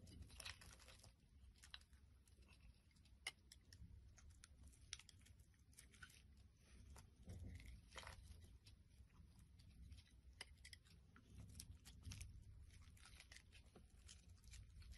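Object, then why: Bar of soap. A solid pink translucent soap bar held in the hand is scraped with a box-cutter blade, with shavings piling up. The sound is a quiet, continuous run of short, crisp, bright scraping and crunching strokes over a soft low rumble.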